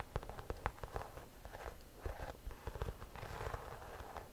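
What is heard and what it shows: A cream croc-embossed leather or faux leather shoulder bag, hollow and held in both hands, is scratched and tapped on its front with long nails. Quiet, dry taps and rustling scratches are heard, with the low, hollow body of the bag thudding under sharp nail clicks.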